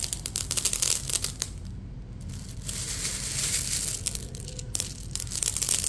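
A bare hand with spread fingertips presses into a large bed of small, solid, marble-sized fired red-clay (hwangto) balls filling a jjimjilbang floor, rubbing and stirring the pile. The balls roll and click against each other in a dense, bright, crunchy rattle of many quick clicks. It swells in waves and eases into a softer, steadier rustle in the middle.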